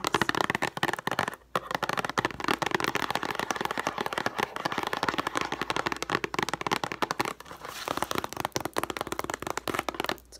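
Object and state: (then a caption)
Cardboard tissue box. Long nails rapidly tap and scratch the sides of a cube-shaped Puffs tissue box made of printed cardboard, hollow and filled with tissues. The result is a dense stream of quick, dry, crackly clicks and scrapes, pausing briefly near 1.5 and 7.5 seconds.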